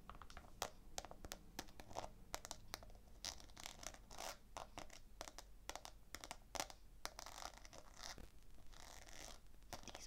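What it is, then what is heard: Rhinestone-covered sneaker toe scratched with nails. Long fingernails scratch rapidly across the rhinestone-covered toe of a hollow, empty black slip-on sneaker with a black suede-like fabric heel and a white rubber sole, held in one hand. The result is a dense stream of quiet, bright clicking and gritty scratching with short, sharp ticks and almost no ring.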